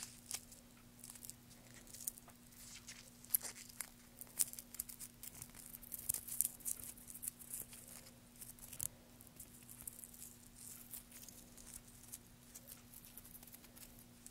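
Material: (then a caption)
Wood. Fingertips of one hand scratch and rake through a loose pile of thin wood shavings resting on a black surface. The result is a soft, dry, bright crackling rustle made of many tiny crisp ticks and crinkles, quiet overall with a faint steady low hum underneath.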